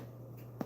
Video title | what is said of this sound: Brötchen & Broth: A Christmas Cook-Along with TC (Homemade Bread + Wild Rice Soup) attemp 3 | They say you want it to be sound hollow. Hear that? Got a nice hollow sound to it.